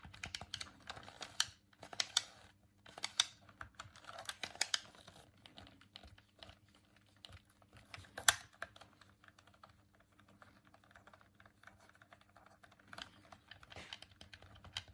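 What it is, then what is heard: Plastic game controller buttons clicking. A hollow white plastic Dreamcast controller is held in both hands while fingertips and thumbs click its face buttons. Quiet, bright, dry plastic clicks come in rapid clusters with short pauses between them, each click stopping almost instantly over a faint steady low hum.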